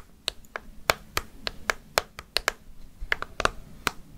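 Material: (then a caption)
Plastic. A hollow orange plastic jack-o'-lantern candy bucket with a handle and candy inside is tapped with long fake nails, giving a quick series of sharp, bright clicks. About fourteen crisp taps land at an uneven pace with almost no ring after each.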